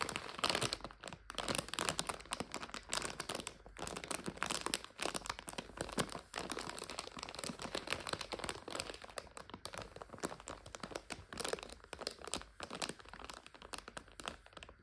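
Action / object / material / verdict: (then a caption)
scrape / plastic bag of dried egg noodles / plastic / none. Long nails tap and scratch the top of a clear plastic bag full of dried egg noodles standing upright. The result is a dense, continuous bright crinkling with sharp crackles and brief pauses throughout.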